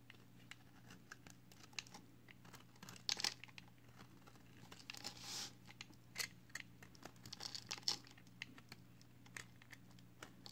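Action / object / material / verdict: scrape / bar of soap shaved with a blade / soap / none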